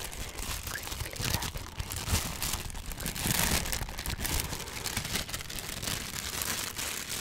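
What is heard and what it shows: A thin, light sheet of lavender tissue paper is held in both hands in front of a foam-covered microphone and crinkled with the fingertips. The result is a dense, continuous crinkling and crackling that is bright and airy on top, with a soft low rumble underneath and a louder swell in the middle.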